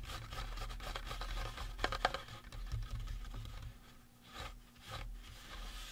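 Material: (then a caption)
Resin. Fingertips tap and scratch the face and cranium of a life-size painted resin or plastic Halloween prop skull. Soft, irregular scratching and rubbing runs throughout over a steady low hum, broken by a couple of sharper, brighter taps near the middle. Each tap is dry and dies away almost at once.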